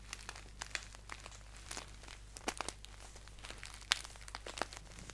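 Fingertips crinkle and tap a green paper tea pouch standing upright. Quiet, bright, crisp crackles and sharp clicks come in uneven bursts over a steady low hum, each one dying away almost instantly.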